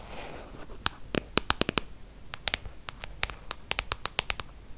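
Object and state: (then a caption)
Glass tablet screen tapped with long nails. Long acrylic nails tap and scratch the glass touchscreen of a large, solid iPad tablet lying flat on a table. After a soft, hissing scratch at the start, 21 sharp, bright clicks follow in uneven bursts, each dying away almost instantly.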